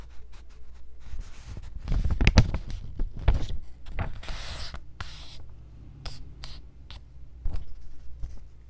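A few folded white paper sheets are held in the hands, handled and scratched with long nails. Soft crinkling rustles and quick dry scratches come in irregular bursts, some bright and hissy, over a low handling rumble. The loudest crumpling swells come early, then the scratches thin out to lighter, scattered strokes.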